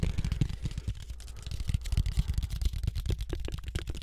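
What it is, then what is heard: Cardboard panel. A thin, rigid, book-sized flat brown cardboard cut-out shaped like a floppy disk is held in both hands and tapped quickly with fingertips close to the mic. The result is a fast run of soft, dull, low thuds with very little brightness and almost no ring after each tap.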